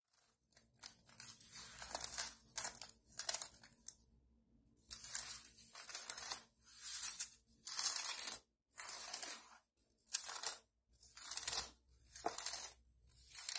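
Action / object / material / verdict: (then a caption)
scrape / thin polyethylene foam packing sheet / polyethylene foam / none. Fingertips and long nails on both hands scratch and rub the surface of a thin white polyethylene foam packing sheet lying flat on a table. Dry, bright, hissing scratches come in irregular bursts, then settle into a steady rhythm of separate strokes broken by short silences, with almost no low end.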